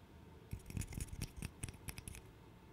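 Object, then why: Small wooden interlocking puzzle. A small, solid, light-wood interlocking burr puzzle, held in both hands, is tapped and clicked with the fingernails. About a dozen quick, dry clicks come in an uneven patter, each with a soft low knock and a bright, high tick. Every click dies away almost at once over a quiet background.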